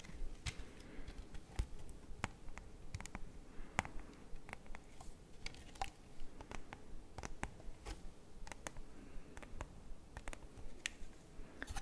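A small, hollow, clear hard plastic CD jewel case, open with a CD disc in the tray and a white paper insert, is held in both hands and handled with the fingertips. It gives an irregular run of sharp, dry clicky taps on the plastic case and disc, each dying out almost instantly. A low, steady rumble sits underneath.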